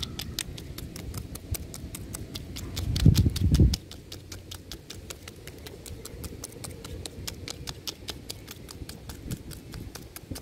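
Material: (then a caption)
Wood bark. Fingertips and short nails tap and scratch a large, solid tree trunk with rough bark. A steady run of quick, bright, dry taps continues throughout over a low, rough scratching rustle, which swells briefly into a louder, heavier scrape before settling back.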